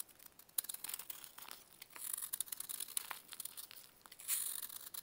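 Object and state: Pressed baking soda block being scraped.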